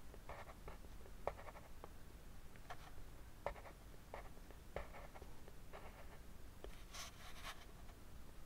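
A black colored pencil writes Chinese characters below a drawn dragon on a white paper sheet lying flat on a desk, scratching the paper in short strokes. Quiet, dry scratches come in brief bursts over a steady low background hum, with a few slightly sharper taps where the pencil strikes.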